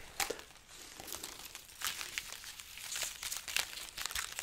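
A dried red chili pepper garland is held overhead while its pods are rubbed and scratched with long nails. The result is a dry, bright crinkling and crunching with quick, scattered crackles, mostly high-pitched and with almost no low end.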